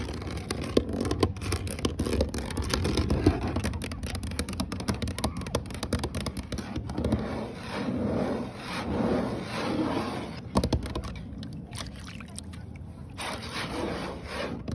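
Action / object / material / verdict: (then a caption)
scrape / polyethylene kayak deck / plastic / none. Fingertips and short nails scratch and rub the textured, dimpled deck of a large hollow green polyethylene Lifetime Eco Sport kayak floating on water outdoors. Dense, dry scraping and rubbing sits over a low, hollow rumble. Several sharp taps and brief crackles cut through at steady moderate loudness.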